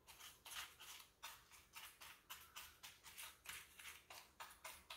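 Fingertips press and pick at the keys of a full-size black plastic keyboard with a hollow body, resting on a granite counter, with a small dark tool nearby. About seventeen soft, bright, brushing scratches come in an uneven rhythm, each with a quick swell and a short fade. The bursts are quiet, hissy and high with almost no low end.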